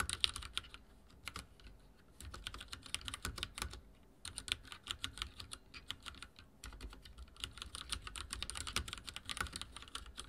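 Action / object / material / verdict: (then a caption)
tap / mechanical keyboard with plastic keycaps / plastic / none. Fingertips type on a backlit mechanical keyboard with dark plastic keycaps, producing a steady stream of short, bright key clicks and taps. The clicks come in quick bursts with brief pauses between them, each one dying away almost instantly, with a light low thud underneath.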